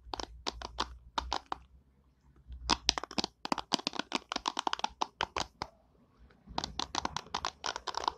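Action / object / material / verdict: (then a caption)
scrape / plastic hairbrush bristles / plastic / none. Long nails strum and scratch the white plastic pin bristles of an oval orange plastic hairbrush held close. The result is three runs of rapid, crisp, bright clicks and scratchy ticks, separated by short quiet pauses.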